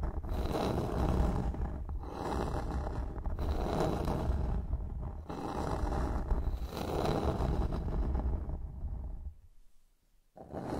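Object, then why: Flat bamboo board. Long fingernails on both hands scratch across a solid, flat bamboo wooden board lying on a surface, making a dense, rough scraping with a heavy low rumble. The scratching comes in steady swelling waves, fades almost to silence near the end, then briefly starts again.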